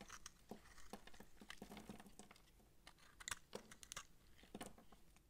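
A utility knife blade cuts the round bumps off a dry, solid purple massage soap bar with a rope loop, held in hand, and scrapes chunks from it. Quiet, dry crunches and crisp crackling snaps follow one another quickly, with bright edges on the sharper cuts. Each sound dies away almost instantly.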